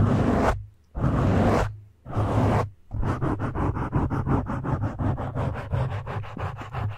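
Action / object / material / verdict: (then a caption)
scrape / foam microphone windscreen / foam / none. Both hands rub and scratch the black foam windscreen on a microphone with fingertips and short nails. Three long, broad rubbing swishes come first, followed by a fast run of short scratches, all heavy in low, close-up rumble.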